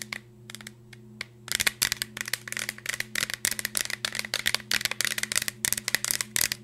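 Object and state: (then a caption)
Cardboard chip canister, tapped and scratched. A green Pringles tube, a hollow cardboard cylinder with a plastic lid, is held up close and tapped and scratched with long nails, possibly with light shaking. A few soft, sparse clicks give way to a rapid run of sharp, bright taps and scratchy rasps, with a faint steady low hum underneath.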